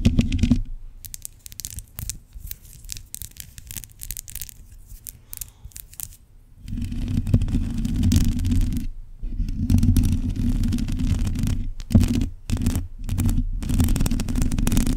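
Long pointed nails scratch a hollow black metal mesh microphone grille, making dense rasping scrapes. A quieter, lighter patch of scratching comes before a louder stretch dominated by deep, boomy low rumble, broken by a few brief pauses.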